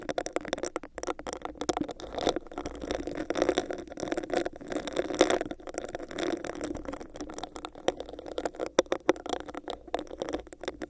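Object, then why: Textured plastic cup. Long nails scratch and tap rapidly on a hollow, empty, clear bumpy plastic cup held over a microphone. The result is a dense, close-miked stream of dry clicks and raspy scrapes with a hollow midrange resonance around 500 Hz. Each tap dies away almost instantly.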